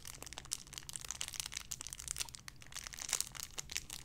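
A small clear plastic bag holding a soft pink-and-white paw-shaped squishy toy is crinkled and squeezed with fingertips and long red nails. The result is a quiet, steady stream of bright, crisp crinkles and crackles with no ring after each one, over a faint low hum.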